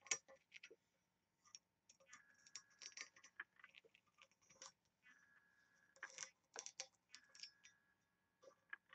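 Long nails tap and scratch the patterned lid and ring-handle area of a small, oval, embossed and engraved brass box that looks hollow. Quiet, bright metallic ticks and scrapes come in short bursts with a faint ringing tone, and each tap dies away almost immediately.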